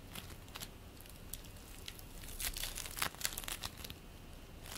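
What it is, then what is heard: Bead play foam being squeezed and stretched. Hands stretch apart and squeeze purple play foam made of polystyrene beads, producing a quiet, irregular run of bright crackling and crinkling snaps. The pops cluster most densely in the second half, where a few louder crackles rise above the soft background.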